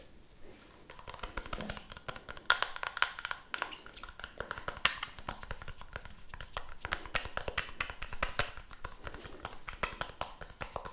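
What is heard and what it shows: Long manicured nails tap quickly on a small, round, closed, hollow white plastic powder compact held in both hands, with a makeup brush also in hand. The result is a dense, fast stream of crisp, dry clicking taps with bright tops and almost no ring, some strikes sharper and louder than the rest.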